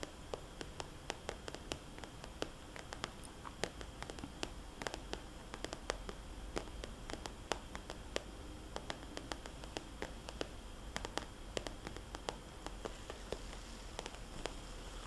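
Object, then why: Plastic cosmetics bag. A small, glossy red polka-dot plastic cosmetics bag, hollow and flexible, is tapped with long nails, then lifted and squeezed in the hand. Quick, dry, clicky taps are heard with very short decay and bright crinkly edges over a quiet, steady hiss.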